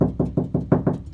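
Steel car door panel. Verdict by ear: Hollow.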